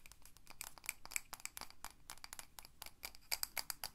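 Long nails tap quickly and rhythmically on the side and lidded top of a pink Ava & May glass candle jar full of solid wax. The result is a rapid series of quiet, bright, clicky taps with almost no ring, some carrying a faint glassy ping around 2.3 kHz.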